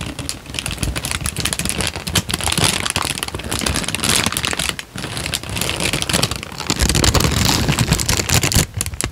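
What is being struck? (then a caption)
Paper sheet. A creased tan paper sheet is bent, crinkled and held flat, giving a dense, continuous crackle of rustling crinkles with bright, papery hiss and soft low thumps as it flexes. The sound runs steadily, with a brief dip partway through before growing louder and busier toward the end.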